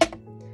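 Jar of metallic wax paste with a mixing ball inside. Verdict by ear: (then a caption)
Loose. A jar of gilded foundry wax, a metallic wax paste, is shaken, and the mixing ball inside is heard knocking twice in quick, bright clicks over a low steady hum. The ball moves freely, showing the wax is loose enough to shake, unlike a thicker sterling wax whose ball can barely be heard.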